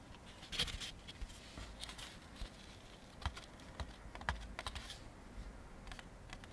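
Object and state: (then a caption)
Molded paper plate. A thin, empty white molded-fiber (Chinet-style) paper plate, about 25 cm across, resting on a wooden table, is held with both hands and tapped and scratched with fingertips and short nails. Scattered light, dry clicks and taps with bright, crisp edges sound over a soft, low background hush. Each tap dies away almost at once.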